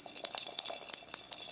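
An air-dry clay bell, shaped like an earthenware bell, with a small metal bell inside in place of a clay ball because the clay itself does not resonate, is shaken. It gives a bright, high jingle, with rapid repeated tinkles over about one and a half seconds before it stops abruptly. The result is an ordinary metal-bell jingle despite the clay look.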